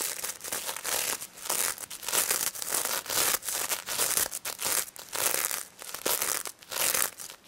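Long nails scratch the plastic sequins of a pink stuffed pig toy that has mesh fabric ears. Bursts of bright, crinkly scratching rise and fade in quick succession, with brief pauses between strokes. The sound is dry and high-pitched, with almost no low end.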